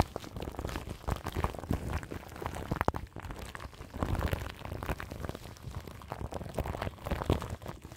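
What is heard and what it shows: Long nails scratch crinkly plastic film wrapped over the grille of a large microphone. The result is a dense, continuous stream of soft crackling and scratching with many short, close-spaced rustles and low, muffled thumps, and no other sounds.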